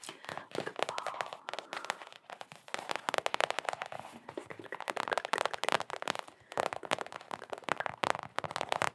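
A small, hollow Knicks mini rubber basketball is tapped rapidly with long acrylic nails. The result is a dense stream of quick, dry clicking taps with almost no ring, centered in the mids around 670 Hz with little low end. The taps come in bursts that briefly pause before starting again.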